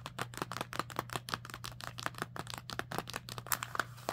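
Long nails tap and scratch the crinkly surface of a small, full plastic bird-treat snack bag resting on fabric. Many quick, sharp crackling taps with brief scratches follow one another in an uneven rhythm, with a steady low hum underneath.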